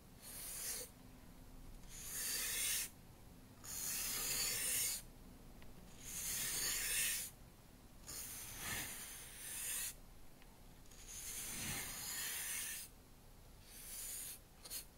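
A black-bristle paintbrush held by its yellow handle is brushed along the edges of a solid wooden cutting board lying flat. Repeated bright, airy scratching strokes sweep back and forth, with quiet gaps between them.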